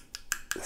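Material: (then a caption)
Nylon. Taps on the fiber-reinforced nylon handle scales of a Spyderco Para 3 Lightweight folding knife, which has no metal liners inside and only a metal lock mechanism. Three short, dry, bright clicks with almost no ring give the handle a slightly hollow sound. It sounds hollow and less indestructible than the G10 version, though the handle is very rigid and hard to bend.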